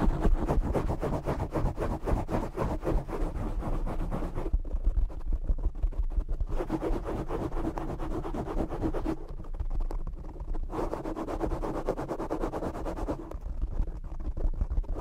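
Fingertips and short nails of both hands scratch and tap a black foam windscreen on a desktop microphone. The result is a dense, continuous run of close, muffled rubbing and crackling with deep thumpy low end. Brighter, scratchier stretches alternate with duller, softer patting passages.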